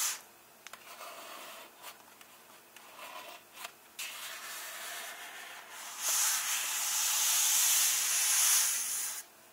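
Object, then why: Paper pages of an open hardcover book. Flat hands slowly rub across the paper pages of an open hardcover book, staying on the same spread. The sound is a soft, airy, high-pitched swish, with quieter, uneven strokes at first. It then swells into a louder, steadier, brighter rubbing before suddenly dropping away.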